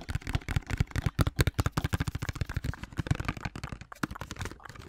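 A large white plastic Olay body wash or lotion pump bottle, hollow and apparently full, is held in hand and tapped and scratched with long manicured nails. The result is a rapid, uneven run of short, dull, low-pitched plastic taps that die away almost instantly, mixed with faint scratchy rustling.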